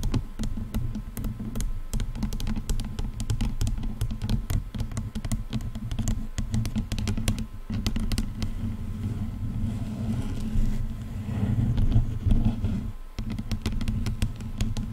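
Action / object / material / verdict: scrape / plastic headphone headband / plastic / none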